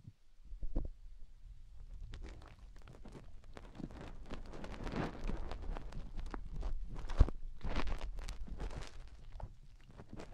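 Long painted nails dig into the ear canals of a pair of white silicone rubber microphone ears with a scratching motion. A dense, irregular stream of soft scratching, rustling and crackling builds over a low rumble, with one sharp tick near the end. No voice is heard.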